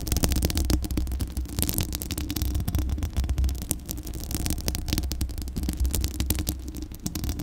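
Long acrylic nails scratch the bare, hollow metal mesh grille of a Blue Yeti microphone. The result is a continuous, dense scratching texture with many quick, sharp scrapes layered over a heavy, deep rumble that dominates the low end.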